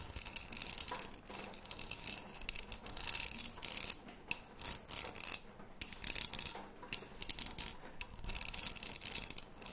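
Long nails scratch and tap the body of a closed cylindrical green metal tea tin with a gold lid, held close to the microphone. The sound is a bright, dry run of rapid scratching bursts and sharp ticks, almost all high-pitched with very little low end. Each tap dies out almost instantly.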